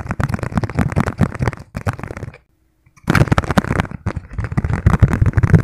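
Fingertips tap rapidly on the thin, hollow, hand-sized yellow plastic lid of a margarine tub, making a dense patter of dull, hollow, low-pitched clicks with almost no ring. The tapping stops briefly at about the midpoint, then resumes just as fast until the end.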